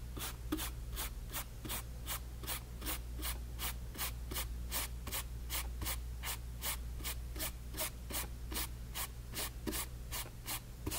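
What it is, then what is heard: Paint brush strokes on a canvas panel. A flat paint brush held in the fingers strokes back and forth over wet orange paint on a small white canvas panel resting on a table. Quick, steady, bright bristle swishes repeat in a close rhythm over a constant low hum. Each stroke fades quickly into the next.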